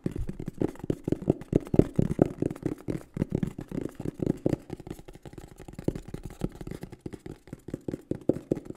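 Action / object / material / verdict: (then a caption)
tap / cardboard box / cardboard / none. A green and black printed cardboard microphone box is held in the hands and tapped and scratched with the fingertips and nails. Quick, dull, hollow taps come in a dense, uneven stream, mostly low and mid in tone with little brightness, and each tap dies away almost instantly. Softer scratching fills the gaps between the taps.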